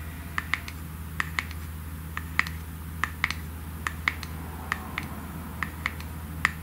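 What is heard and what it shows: A small glass cream jar with a gold metallic lid is tapped on the lid by long nails, making about twenty short, bright clicks with a ringing tone near 1.9 kHz. The taps fall in quick pairs and singles over a steady low hum.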